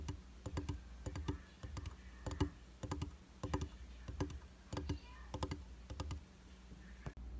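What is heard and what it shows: Fingertips and short nails tap rapidly on the dry, solid glass of a round vanity mirror set in a white plastic frame. The result is bursts of short, crisp clicks in an uneven rhythm, each dying away almost instantly. A steady low hum runs underneath the whole time.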